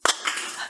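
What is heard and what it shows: Two quick taps on an empty aluminum can of Natural Light beer give a short, bright, hollow tick with almost no low end and a very brief ring. The hollow sound shows the can is totally empty.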